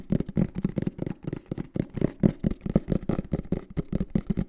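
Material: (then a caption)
Cardboard. A green and black printed cardboard microphone box is held in the hands and tapped and scratched with the fingertips. A rapid, uneven run of soft, hollow, low thuds with very short decay is mixed with faint scratchy rustle between the taps.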